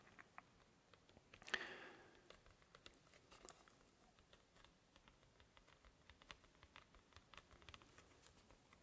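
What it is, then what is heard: Cardboard comic backing board. A thin, flat, solid sheet of white cardboard comic backing board is held upright in both hands, tilted slightly, while fingertips and nails tap on it. The result is a quiet, dry patter of light, bright clicks with almost no ring, plus one louder, brief crackling flex of the board near the start.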